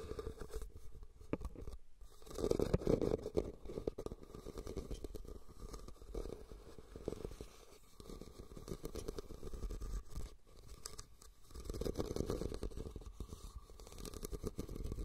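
Fingernails scratch the weave of a hollow, red, cylindrical woven rattan basket set over the recorder. The result is a continuous dull, rumbling scrape with a resonant hum around 480 Hz and almost no bright content. It swells louder at around 2.5–3.5 seconds and again near 12 seconds.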